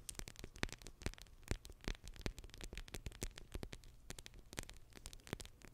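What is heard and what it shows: A small, soft blue pack of water-bead gel sealed in clear plastic is held close to a microphone and scratched and squeezed with long red acrylic nails. The result is a rapid, steady stream of sharp, crackly clicks and scratchy taps that stay fairly quiet overall. The sound is bright on top with a dull low rumble underneath.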